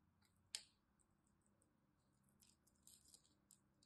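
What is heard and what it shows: A small blade cuts under the scored surface of a solid pink and white striped glycerine bar soap held in one hand, peeling up thin flaps of dry soap. There is one sharp, bright snap near the start, followed by quieter, crisp crackling peels. The sounds are high and dry with almost no low end and no ring.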